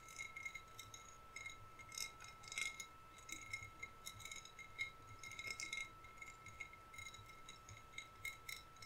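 A hollow green glass bottle, lit from inside and decorated on its side, is tapped with fingernails. The result is a quiet run of light, bright clinks and ticks with very short ring, over a steady faint high tone. The taps come in uneven clusters throughout.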